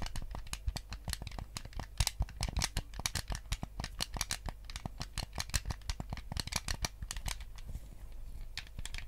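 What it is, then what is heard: Plastic game controller. Fingertips tap the hollow plastic shell of a white GameCube controller and click its buttons in a quick, irregular stream. The sharp, dry clicks and taps are bright and die away almost at once, over a steady low hum.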